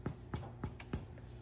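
A freshly baked einkorn sourdough loaf, just taken out of a Dutch oven and set on a cooling rack, is tapped four times on its crust. Each tap gives a short, dull, low hollow thump, showing the loaf is baked through.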